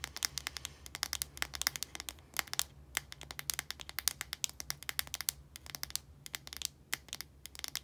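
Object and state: Plastic deodorant stick.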